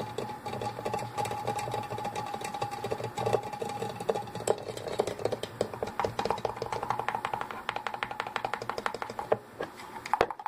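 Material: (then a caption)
Metal. Fingernails tap and scratch the sides of a tall Glade aerosol can standing on a table, its hollow metal body topped with a plastic cap. A rapid, steady stream of short, dry clicks and scrapes follows, each with a faint hollow ring around 460 Hz that dies away almost instantly, over a soft mid-range scratching texture.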